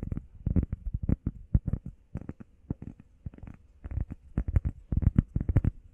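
Long painted nails and fingertips tap and scratch quickly on a flat, solid, hand-sized grey textured EVA foam workout pad shaped like a heart. The result is a rapid, irregular patter of dull, muffled, low thumps with almost no ring and no bright edge.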